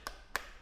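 Two short, dry taps on the ABS plastic chassis of an original Mercedes C-Class W250 door mid-range speaker give bright clicks centered near 1.7 kHz that die out almost instantly with no ring. The hollow plastic sound marks it as a cheap, low-quality, very light speaker with an ABS chassis rather than polyamide fiber, unlike the ETON replacement.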